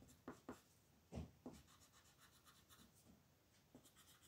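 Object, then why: Colored pencil on a paper sheet. A purple colored pencil rubs over a flat white paper mandala sheet in small coloring strokes while the other hand rests on the sheet. Four louder soft scratchy strokes stand out early on, followed by quieter, faint rubbing.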